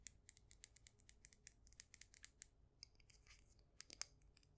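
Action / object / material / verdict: tap / glazed ceramic mug filled with soil / glazed ceramic / none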